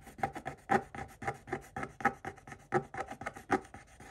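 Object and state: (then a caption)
Scratch-art paper being scraped. A pointed wooden stick scrapes the black coating off a flat coated paper page of a spiral-bound scratch-art book, leaving visible flakes. About 18 short, dry rasping strokes come in an uneven rhythm, each a gritty scratch centered in the midrange around 800 Hz with a thin high hiss and almost no low end. Each stroke stops dead with no ring.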